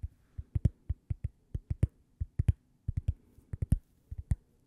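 A thin, flat, toast-shaped solid cork coaster is held edge-on by the microphone and tapped with long painted fingernails. It makes 22 quick, dry, dull taps in an uneven rhythm, each a soft low thud around 90 Hz with a faint clicky edge that dies away almost instantly.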